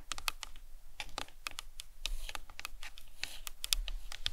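Long nails tap quickly and irregularly across the top and sides of a hollow plastic anatomical skull model. Each tap is a dry, bright click that dies away almost instantly, over a faint low rumble.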